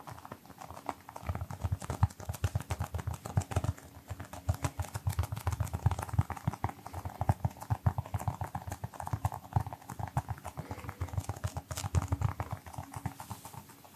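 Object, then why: Small rubber toy football. A small brown pebbled rubber toy football, likely hollow, is held in both hands and tapped rapidly with the fingertips. It makes a steady stream of soft, dull, low thumps that stop almost at once, with faint clicky ticks between them.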